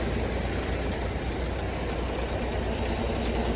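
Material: Nothing is struck.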